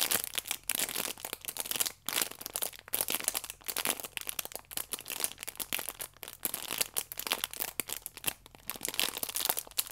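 A small rectangular stack of paper and foil yeast sachets, wrapped in clear plastic film with a red band, is held as a solid pack in both hands while fingertips and long nails squeeze and scratch the wrapping. The result is dense, bright crinkling and crackling with quick, sharp crunches and almost no low end. It rises and falls in busy bursts with brief pauses.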